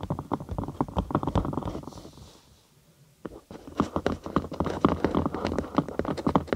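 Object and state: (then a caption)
Thin cork sheet tapped with fingernails. A thin cork sheet, curved over a binaural microphone with a hollow space underneath, is tapped rapidly with the long acrylic nails of both hands. The taps come as a quick, uneven patter of short, dry, hollow knocks with a low, bassy body. They fade into a near-silent pause of about a second before resuming in a denser burst.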